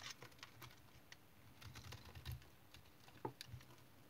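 A utility knife blade shaves a solid, hand-sized, stone-like dried household soap remnant with a speckled crust, held in the hand, into crumbly flakes. Quiet, dry scraping and crisp crackling ticks come in quick bursts over a soft low rumble, with one sharper snap near the end.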